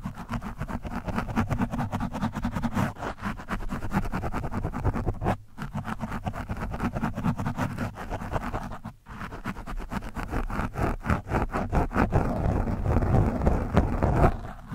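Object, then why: Foam microphone windscreen scratched with a metal screwdriver tip. The tip of a screwdriver shaft is scratched across a soft, porous orange foam microphone windscreen. It makes a dense, rough scraping and rustling with a heavy low rumble and rapid, uneven strokes. Brief drops in sound occur around 5.5 and 9 seconds.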